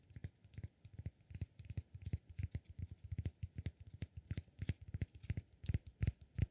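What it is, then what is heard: Cork block. A rectangular solid cork block, held in one hand, is scratched and tapped with fingertips and short nails. About 32 quick, dull, low-pitched taps fall in an uneven rhythm, each dying away almost instantly, with faint scratching between them.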